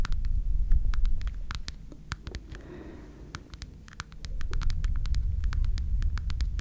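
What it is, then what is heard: Rhinestone-covered heart keychain, scratched. A small red heart keychain with a rhinestone-covered surface is held up close and scratched rapidly with long red nails. It makes a quick, uneven stream of sharp, bright ticks and scrapes over a heavy low rumble that dips briefly midway through.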